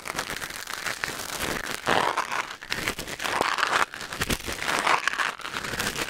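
A thin wooden or bamboo ear pick held in the fingers scratches and scrapes inside the canal of a white silicone ear mounted on a black binaural microphone. Close, dry crinkling and crackling scrapes fill the clip, with a bright mid-range texture and louder bursts of rubbing.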